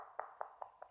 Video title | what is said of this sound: علاج تطبيل السيراميك والبورسلين | تيجي من الزاوية من هنا كده تلاقي البلاطة مطبلة